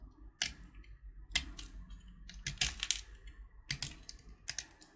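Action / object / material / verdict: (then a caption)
scrape / candy-coated chocolate button / sugar shell / none. A utility knife blade scrapes a small, solid purple candy-coated chocolate button (Gems) held between thumb and finger, exposing the brown chocolate under the shell. Bright, dry scratching strokes and crisp clicks come in short bursts over a faint low background hum, each dying away almost instantly.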